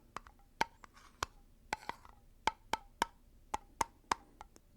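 A favorite scented candle in its container is tapped about fifteen times in an irregular rhythm. Each tap is a short, dry, wood-block-like knock with a ringing tone near 930 Hz. A low rumble rises at the very end.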